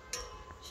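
A child walking home strikes a metal object, which gives off a noisy, clanking metallic sound because it is metal. The hit is short and bright, with a clinking tone around 430 Hz and little lingering ring.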